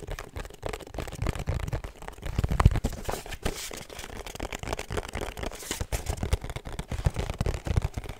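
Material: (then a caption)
Cardboard. A small, hollow, rigid pink cardboard perfume gift box with a black ribbon is tapped and scratched with long nails across its faces and edges. The result is a steady run of quick, dry taps with a low, hollow thump and faint scratchy rustling between them.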